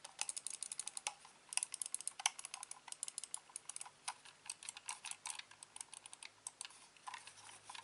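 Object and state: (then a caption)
Plastic computer mouse being clicked. Fingertips click the buttons and scroll wheel of a hand-sized, hollow, black plastic corded mouse. A fast, irregular run of sharp, bright, dry clicks follows, each dying away almost instantly over a faint low hum.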